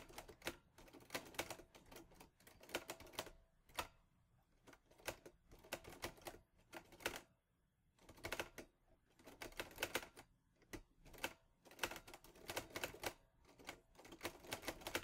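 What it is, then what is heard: Metal manual typewriter. Fingertips with short nails type repeatedly on the keys of a mint-green Olivetti Lettera 22 portable manual typewriter with a metal body and paper loaded. Bursts of rapid, sharp, bright mechanical clacks come in quick runs separated by short pauses. Each strike is crisp and dies away almost instantly, with little low-end weight.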